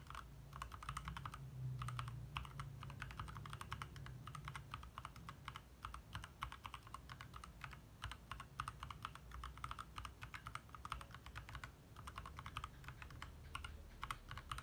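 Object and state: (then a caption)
Plastic mechanical keyboard being typed on. Fingertips from both hands type fast, steady taps on a compact 60% backlit mechanical keyboard with lit plastic keycaps. The clicks are short and crisp with a bright midrange, over a low, constant hum underneath.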